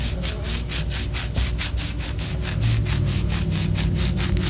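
Long orange nails scratch the surface of a white solid wax pillar candle in quick, rhythmic strokes. Each stroke gives a bright, hissy scrape over a steady low hum, and the scratching stays even and continuous throughout.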